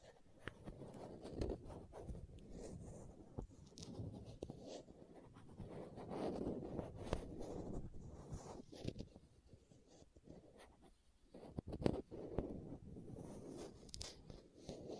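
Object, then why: Small plastic contact lens case with screw lids. Long nails scratch a small, hollow green and white plastic contact lens case held near the microphone and twist its screw lids. Soft, dry scratching and gritty rubbing come in irregular bursts with faint clicks, mostly low and muted with a little high hiss. A brief near-silent pause falls partway through.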